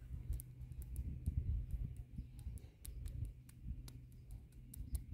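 Long nails tap and scratch along the sides and tops of the solid cylindrical concrete posts of a concrete palisade garden border, brushing over the rough surface. A steady low, dull rumble carries the scraping, with faint, short, bright ticks marking the individual taps.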